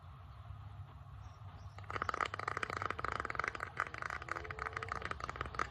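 Fingernails tap and scratch rapidly across the grain of a solid bamboo wooden board. After nearly two seconds of faint city background hum, a dense run of dry, crisp clicks and scrapes begins, with a bright midrange rasp. The taps stay short and quick, with little ring after each one.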